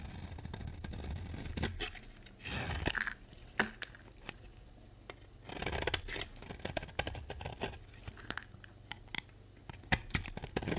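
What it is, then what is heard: Dry bar soap being carved. A utility box-cutter blade scrapes and carves curls off the edge of a solid rectangular bar of dry lilac soap held in the hand. Dry, crisp scraping strokes come in bursts, punctuated by many sharp, bright clicks as the blade bites and releases, over a low, steady background rumble.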